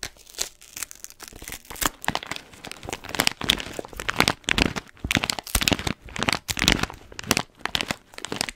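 Long nails scratch and tap the paper and blue tape of an orange paper-foil coffee bean bag held in one hand. The result is a steady stream of bright, dry crinkles, scratches and quick taps with little low end.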